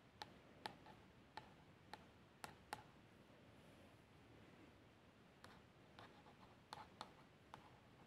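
A long nail traces over the label and top logo of a plastic shower gel bottle that appears filled, making a quiet, steady scratching hiss. Eleven sharp, brief clicks with a faint ringing ping and bright edges cut through the trace.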